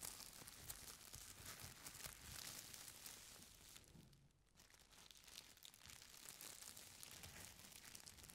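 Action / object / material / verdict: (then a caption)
scrape / stack of thin tissue paper / paper / none. Fingertips and long nails press, rub and scratch a folded stack of thin purple tissue paper lying flat on a chair seat. The result is a steady stream of soft, bright crinkling and papery scratching, with a brief quieter lull midway before the rustling picks up again.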